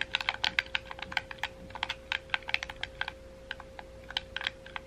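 A hollow red wired plastic gamepad is held in both hands while fingertips tap and click its face buttons and triggers. About 24 quick, sharp plastic clicks come in an uneven, rapid rhythm, bright and dry with almost no ring. A faint steady tone hums underneath.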